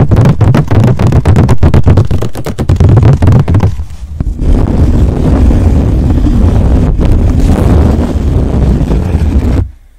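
Long nails scratch and rub along the side edge and surface of a blank white stretched canvas art board held flat. Quick, dense scratching strokes give way to a continuous rough, low-heavy rubbing that cuts off abruptly at the end.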